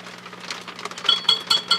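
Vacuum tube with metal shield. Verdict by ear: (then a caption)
Microphonic. Gentle taps on the metal shield of a 6CB6 vacuum tube in an HP 400H voltmeter come through the circuit as a series of short, bright metallic clinks with a ringing tone near 3.3 kHz. The taps grow louder toward the end, and the ringing shows the tube is microphonic.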